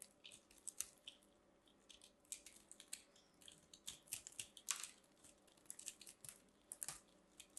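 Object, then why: Pressed soap shavings ball cut with a small metal knife. A long-nailed hand carves and scrapes a small pink ball of compressed soap shavings with a small metal craft knife, held in one hand, solid and crumbly. Many quick, dry, crunchy scrapes and crackles sound bright and high with almost no low end, as crunchy flakes are cut off.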